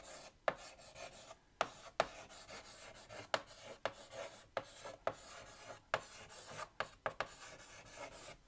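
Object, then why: Chalk on a chalkboard in a wooden frame. White chalk held in the fingertips scratches a line of text across a large, flat black chalkboard set in a wooden frame. Soft, dry rasping strokes are broken by about eleven sharp, quick taps as the chalk meets the board, with a bright scratchy edge and a midrange tone.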